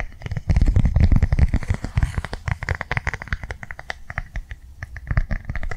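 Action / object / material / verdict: tap / plastic cardholder tapped with fingernails / plastic / none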